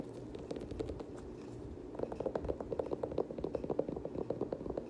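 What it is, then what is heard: Leather sneaker, fingernail tapping and scratching. Fingernails scratch and tap the iridescent dark teal leather upper and rubber sole of an empty, hand-held Air Jordan 6 high-top sneaker with laces. A soft, low scratching rustle runs through the first two seconds, then gives way to a quick run of sharp, dry, mid-pitched taps that stop almost instantly.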